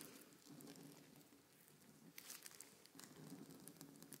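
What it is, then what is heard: Marker tip scratching thin paper. A white paint marker tip is scratched and drawn across a large sheet of thin, crinkly paper printed with a blueprint, lying flat on a table while one hand holds the sheet. The result is a quiet, dry scratching and crinkling, with bright ticking strokes over a soft low hum.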